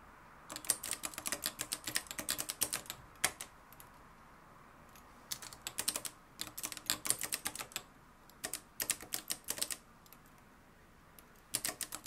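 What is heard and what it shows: Fingertips type fast on a mustard-yellow, plastic-cased Adler Gabriele 2000 manual typewriter with a metal mechanism and dark plastic keys, resting on a wooden desk. Rapid, bright, dry key clacks come in bursts, separated by short quiet pauses, with almost no low end and no lingering ring.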